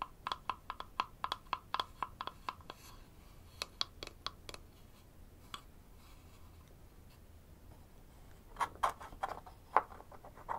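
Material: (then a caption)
Wood. Fingertips and nails tap and scratch the sides and rim of a small, open, light-wood box, hollow and empty, held in the hands over a wooden toy tool set. A quick run of short, dry, hollow knocks centered near 850 Hz with bright clicks fills the first few seconds. After a sparse, quiet middle with faint scratching, a final cluster of louder taps follows.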